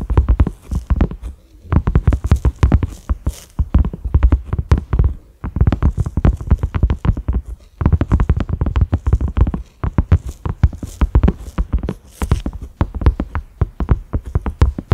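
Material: Silicone.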